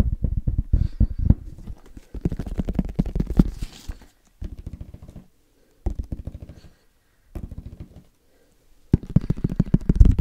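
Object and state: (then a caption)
Plastic padel ball tube tapped. Fingertips tap rapidly on the side of a tall, hollow, cylindrical plastic padel ball can held upright in one hand. The result is quick bursts of dull, low, hollow thuds that die away almost instantly, separated by short silent pauses.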